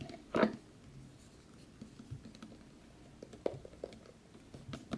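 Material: Cardboard.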